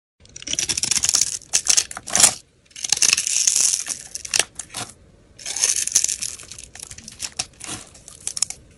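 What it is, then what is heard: Soap bar being carved. A palm-sized, solid pale green soap bar is held in the hand and scraped and carved with a metal blade into thin curls and chunks. Three bursts of crisp, bright shaving rasp come with sharp cuts and crunchy snaps, separated by short pauses.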